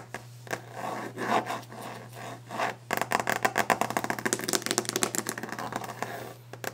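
Long orange-painted fingernails scratch across a large, solid, varnished wooden desk top for about the first three seconds, giving soft, rough scraping. Then they switch to fast, aggressive tapping, producing a quick run of sharp, dry clicks that die away almost instantly. A faint low hum runs steadily underneath throughout.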